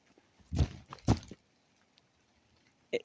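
Jumping up and down on a patch of ground laid over layers of old tin roofs, possibly left from a structure that collapsed there, makes the ground sound hollow. Two heavy, low, booming thuds land about half a second apart, followed after a pause by a brief, sharper knock.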